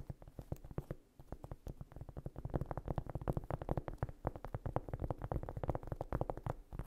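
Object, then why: Cork coaster or trivet. Long nails scratch and tap rapidly across the surface of a large, round cork trivet or coaster lying solid and flat on a rug. The result is a dense run of soft, dull, low-heavy taps with a brief lull near the one-second mark. Each tap dies away almost instantly, with little brightness.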